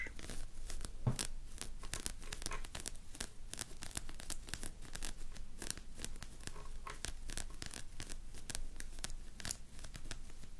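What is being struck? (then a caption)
Plush toy with stiff synthetic bristles. Long nails scratch quickly through the stiff synthetic spiky fur of a medium, soft plush hedgehog toy standing on a table. The result is a dense, continuous run of short, dry, tearing-like scratches with bright crackly streaks over a steady low rumble.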